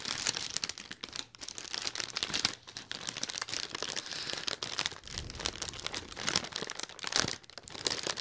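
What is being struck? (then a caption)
Inflated mylar foil letter balloon. A large silver mylar foil balloon in a letter shape, hollow and filled with air, is held near a binaural microphone and crinkled and scratched with fingertips and nails. Bright, dense crackling and crinkling runs throughout in uneven bursts, with short scratchy swipes and almost no low end.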